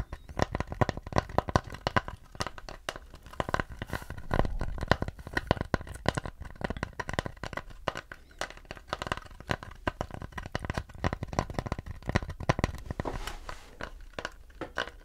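Fingernails scratch and tap the surface of a thin, hollow-backed, round mid-brown wooden plate held up near the face. The result is a steady run of dry, crackly scratches and quick taps that stop dead with no ring, weighted toward a low, hollow thud with little brightness.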